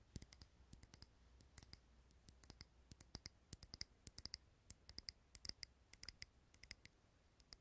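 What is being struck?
Small glass jar candle filled with wax.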